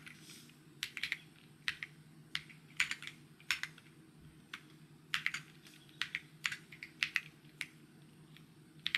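Fingertips type fast on a white mechanical keyboard with plastic keycaps. Quick, bright clicky taps come in uneven bursts with short pauses, over a faint steady low hum.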